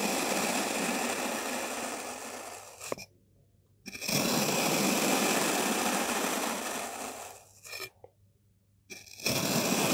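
A white-bladed kitchen knife is drawn repeatedly through a solid, dense molded block of beige and dark purple kinetic sand. Each slice makes a steady, gritty, bright crunching scrape that lasts a few seconds. Two long slices and the start of a third are separated by near-silent pauses, with a small sharp click as the first slice ends.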